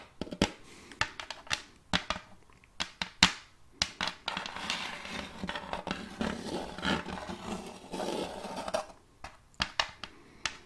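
Long multicolored fake nails tap on the surface of an empty, round, glossy wooden serving tray with a rim, held upright beside the mic. Sharp, bright clicking taps come with brief pauses, then give way to a few seconds of dense, rough scratching texture in the middle. Scattered taps return at the end.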